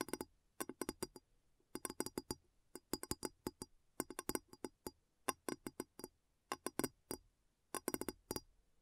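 Fingers tap on a glass bowl in quick clusters of light, rapid taps separated by brief pauses. Each tap is a short, dry clink centered around 1 kHz with a faint bright edge, dying away almost instantly with no lingering ring.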